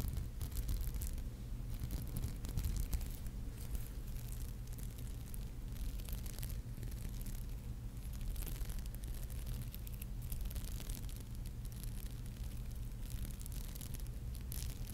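Long nails scratch across the glass bead surface of a palm-sized, flat, solid red and gold beaded maple leaf brooch held close. The scratching is a steady, dense scraping over a low, constant hum, with faint crisp bright ticks on top.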